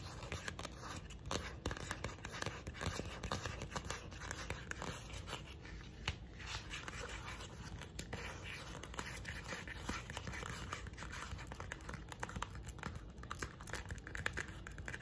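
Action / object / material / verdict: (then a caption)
scrape / softcover paper booklet / paper / none. A pink softcover paper booklet, held in both hands, has its cover scratched and tapped with long nails. Quiet, dense dry scratching and quick tapping run continuously over a low background hum, with many small overlapping clicks and no ringing.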